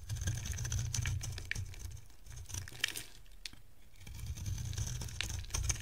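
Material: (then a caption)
Soap. A dry white solid bar of soap, held in the hand, is carved and scraped with a metal box-cutter blade. Irregular, crisp scraping and sharp bright ticks sound over a steady low rumble, quieter in the middle of the clip and fuller at the start and end.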